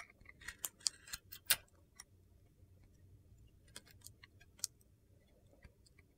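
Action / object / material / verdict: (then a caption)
scrape / bar of soap with glitter coating / soap / none. A metal box-cutter blade carves curled shavings off a hand-held, glitter-coated solid red and yellow soap bar studded with star sequins. Sharp, bright crunchy scrapes and ticks come in uneven bursts, densest early, then sparser against a quiet low hum.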